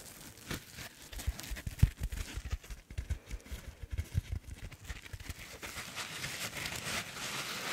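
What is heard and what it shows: A hand-sized blue foam sponge, solid and soft with a textured side, is scratched and rubbed with long nails. The result is a quiet run of soft, dull scratching thuds, mostly low, with a faint brushing hiss above. The strokes blur into a steadier rubbing toward the end.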